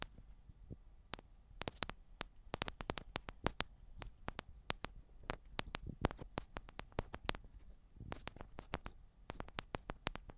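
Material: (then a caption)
Metal. Long black nails tap the tops and sides of two identical silver metal cylindrical microphones. Rapid, irregular, very short taps each give a sharp, bright click with almost no ring, over a quiet low rumble.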